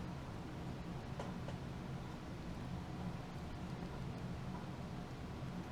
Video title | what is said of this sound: Smith & Wesson Bodyguard 2.0 Vs Ruger LCP MAX | I'm shaking it maybe even harder than I was shaking the Ruger nothing solid